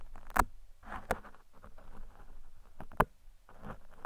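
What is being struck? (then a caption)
Foam microphone windscreen picked with metal tweezers. Metal tweezers, held in fingers with long red nails, scrape and pick along the top of a large black foam windscreen covering a microphone. Soft, close, muffled scratching and rustling runs throughout, broken by a few sharp, brief clicks that die away almost at once.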